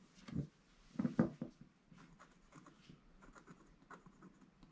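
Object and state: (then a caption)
Scratch-art paper being scratched. A wooden stick scratches small areas of black coating off a gold scratch-art paper page. A few louder, rasping strokes come early, then lighter, quicker scratches continue with a dull, papery tone centered low around 200 Hz.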